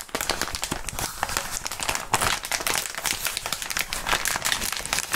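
Clear plastic bubble wrap is bunched and crumpled between both gloved hands. The result is a steady stream of bright, dense crinkling broken by sharp little crackles, with almost no low end.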